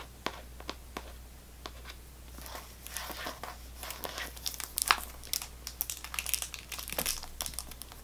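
A sealed Extra gum box, cardboard wrapped in clear plastic film, is held in the hands and tapped and scratched with long nails. Sparse, sharp taps give way after a couple of seconds to dense, bright crinkling and scratching of the film over a faint steady low hum.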